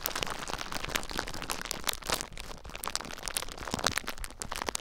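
Clear plastic bubble wrap bundled around a recorder is squeezed and crinkled by fingertips with short nails, popping the bubbles. A dense stream of sharp, bright crackles and pops rises over a low rumble, forming a continuous close-up crinkling texture.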